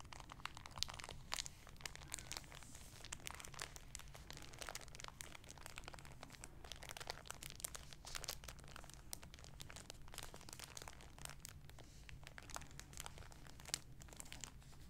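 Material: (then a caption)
Plastic. A folded olive-green shower curtain, likely vinyl or PEVA, sealed flat and soft in a thin clear plastic bag with a paper label, is held in both hands and squeezed and crinkled with fingertips and painted nails. It gives a quiet, continuous stream of bright, crisp plastic crackles and crinkles with short sharp snaps, over a steady low hum.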